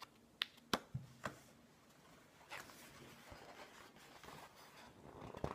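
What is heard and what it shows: A flat hand rubs across the glossy paper pages of a green-edged hardcover book resting on a wooden table, then fingers flip the pages. A few sharp, bright paper ticks come first, followed by a soft, airy rubbing hiss and quick crisp flicks at the end. The whole clip is quiet and close.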